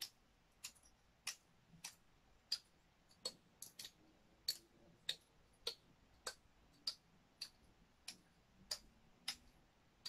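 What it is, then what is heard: Dry pine cone. A large, dry, woody pine cone is held near the microphone while long nails slowly flick its open scales. About eighteen short, bright ticks sound at a steady, slightly uneven pace of roughly one every 0.6 seconds. Each tick is quiet, dry and fades almost instantly over a soft hiss.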